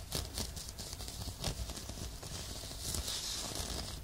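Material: Fabric.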